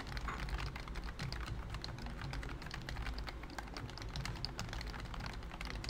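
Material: Plastic.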